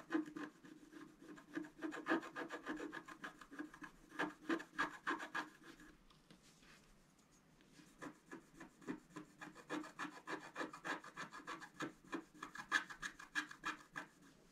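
A scratch-art paper board is held flat by one hand while a thin wooden stylus scratches its coating in short, quick strokes. The result is a dry, rasping scratch with a steady tone near 1.6 kHz and a thin high fizz, with a quiet pause around the middle. The strokes then return in a brisk, uneven rhythm.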